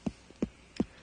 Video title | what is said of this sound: Eye on New Paltz - Ep 07 - November 1990 | if it has a nice hollow sound that means that it's ready